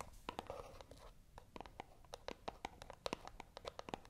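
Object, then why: Small cardboard box. Long acrylic nails scratch and tap a small, hollow white cardboard box held in both hands. A quiet, rapid series of crisp, dry scratches and clicks sounds, each dying out almost instantly, with a faint papery rasp between them.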